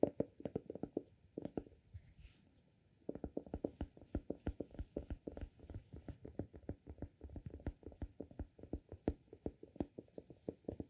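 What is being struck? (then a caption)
Glass candle jar with cork lid. Fingertips tap and scratch the cork lid of a small amber glass soy wax candle jar that is full of wax. The result is a fast, dense run of soft, dull, low-pitched taps, with a brief pause near the start before the tapping resumes steadily.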